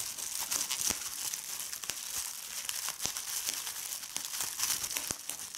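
A large clear sheet of air-filled plastic bubble wrap on a checked tablecloth is crinkled and squeezed by fingers with long red-painted nails. The sound is a steady, bright crinkling with sharp crackles and pops scattered throughout, and almost nothing in the low end.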